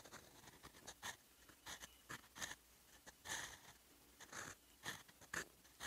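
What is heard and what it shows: A fountain pen's steel nib scratches across a sheet of lined writing paper while writing in blue ink. The sound is a quiet, irregular run of short, bright, dry scratching strokes with a faint raspy tone, with gaps of near silence between bursts. Each stroke stops almost at once, with no ring or low-end body.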